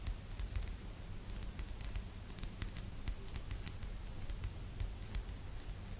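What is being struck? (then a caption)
Bamboo phone stand. Long almond-shaped nude nails tap and scratch the surface of a small, flat, rectangular solid bamboo phone stand with a slot, lying on a purple blanket. Quick, dry, bright clicks and scratchy ticks patter irregularly over a soft low rumble, each dying away almost instantly.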